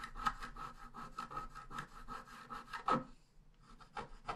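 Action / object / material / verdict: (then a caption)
scrape / scratch art paper sheet scraped with a wooden stylus / coated paper / none. A wooden stylus scratches along the bottom border of a thin scratch art paper sheet lying flat. It makes quick, raspy back-and-forth strokes with a steady scratchy tone, ending in a stronger stroke before a short pause. A few softer strokes follow.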